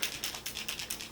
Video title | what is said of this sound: Full face 1st impressions. Flower Beauty, Wet 'N' Wild, e.l.f. , Hourglass, Charlotte Tilbury. | It's got that little mixing ball in it.